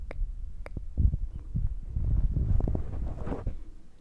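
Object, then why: Foam microphone windscreen. Fingertips tap rapidly on top of the soft black foam windscreen on a Zoom recorder, making a dense run of muffled, low thumps and rustles. A couple of sharper, brighter clicks stand out near the start.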